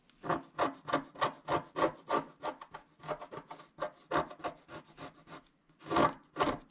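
A wooden stylus scratches across a flat, coated scratch-art sheet in about 17 quick, dry strokes, each a short rasping burst centered around 1 kHz. The strokes come at an uneven pace with a short pause in the stretch before the final two louder scrapes.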